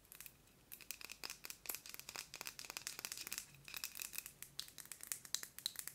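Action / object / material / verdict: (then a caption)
tap / small metal candle tin filled with wax / metal / none. Long nails tap quickly on the lid and sides of a small round metal scented candle tin filled with wax. The result is a quiet, rapid, uneven stream of sharp, bright clicks that die away almost instantly with no ring, with a few slightly louder taps near the end.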